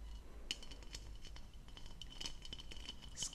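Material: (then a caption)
Plastic. Long nails tap the hollow, textured bowl of an empty blue plastic goblet on a stem, held up in the air. The result is a quick series of light, clicky taps with a faint ring near 3 kHz that dies almost at once, over a soft low rumble. A few taps stand out louder than the rest.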